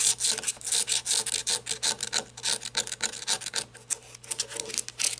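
Long red nails scratch and tap the grooved body of a black, ribbed, rubber-gripped flashlight with a lanyard, first lying on a table and then held. A quick run of dry, bright, raspy strokes and light taps rises and falls in short bursts, with almost no low end and no ring after each stroke.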